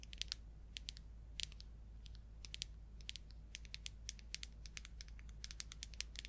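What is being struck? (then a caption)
Small plastic paint jar with lid. A small red plastic paint jar with an orange lid is tapped and scratched with long acrylic nails on its lid and labelled sides. Quick, bright clicking taps come in irregular bursts over a steady low hum.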